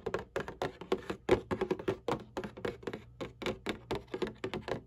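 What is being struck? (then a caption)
Cardboard tissue box. Long nails and fingertips tap and scratch the flat bottom panel of a cardboard Kleenex tissue box. A quick, uneven run of dry, hollow taps with short scratchy bursts is heard, each dying away almost instantly with a muted midrange tone.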